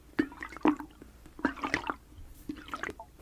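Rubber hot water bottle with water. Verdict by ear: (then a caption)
Full. Water sloshes inside a rubber hot water bottle in a quiet series of short, wet, squishy gurgles. Each burst fades quickly, with brief pauses between them.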